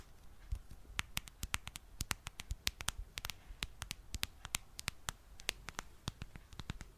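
Long dark nails tap and scratch the back of a smartphone in a dark plastic back case with a popsocket. About 36 sharp, dry clicks ring bright and die almost instantly, over a soft low rumble and faint scratching between them.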